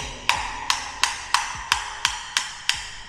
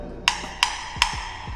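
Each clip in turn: First: Eight crisp, high taps on a ceramic floor tile, bright and short, marking it as solidly bedded. Second: Three quick metal-on-tile taps, clicky and high, on a floor tile that sounds slightly stale and hollow.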